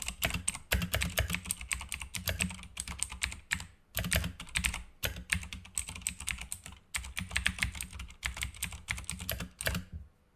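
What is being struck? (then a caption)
Plastic mechanical keyboard. Fingertips of both hands type fast on a full-size black Razer mechanical keyboard with plastic keycaps and green backlight, resting on a desk mat. Rapid, dense bursts of bright, clacky key clicks over a low thock are broken by short pauses between flurries.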